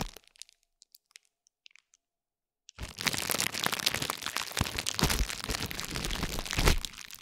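A metal spiked roller is rolled repeatedly across and pressed into a layered plastic bubble wrap pad. After nearly three seconds of quiet with only a few faint ticks, a dense, continuous run of bright crackling and crunching begins, with a low rumble underneath, and it keeps going until the end.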